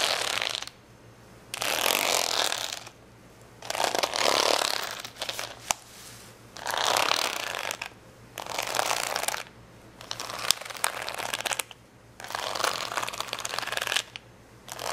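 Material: Plastic.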